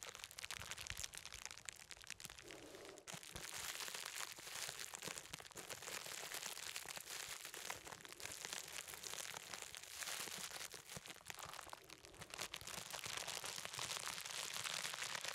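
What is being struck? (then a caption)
Plastic bubble wrap roll. A large rolled cylinder of clear plastic bubble wrap is held upright while fingertips tap, scratch and squeeze its bubbly surface. The result is a dense, steady stream of bright crinkling, crunching and crackling, almost all in the high range with very little low end. Each small snap dies away quickly, and the sound dips briefly around the twelve-second mark.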